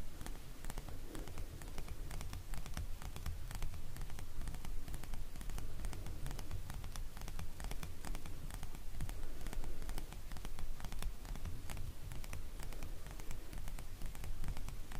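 A palm-sized red plastic paw-shaped acupressure massager covered in bumps is held in the hand while fingernails scratch and tap across the bumps. The result is a steady stream of quick, crisp clicks and scratchy ticks over a low, rumbling bed.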